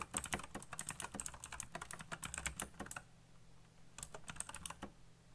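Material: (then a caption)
Plastic. Fingertips type very fast on a backlit plastic mechanical keyboard with black plastic keycaps, producing a dense run of sharp, bright clicks over a low steady hum. The keystrokes pause briefly around the middle before a shorter burst of clicks resumes.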